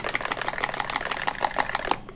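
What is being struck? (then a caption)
Plastic sunscreen bottle with a mixing ball. A plastic bottle of La Roche-Posay Anthelios mineral light fluid sunscreen is shaken, and the weighted mixing ball inside rattles as it is meant to. It makes a rapid, continuous stream of sharp, bright clicks for about two seconds, then stops.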